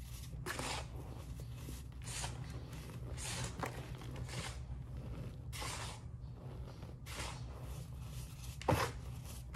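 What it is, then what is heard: Loose cleanser powder being crumbled. Bare hands dig into a large mound of fine grey-white Comet cleanser powder, squeezing clumps and crumbling them back onto the pile. Soft, breathy bursts of gritty crunching and hissing rise and fade over a steady low hum, with a sharper crackle near the end.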